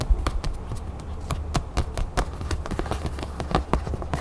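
Long nails tap and scratch the surface of a thin, flat red craft foam sheet cut into a crown shape and held in both hands. A quick, uneven run of short, dull, soft taps sits mostly in the low range with almost no brightness, under a faint scratchy rustle. Each tap dies away almost instantly.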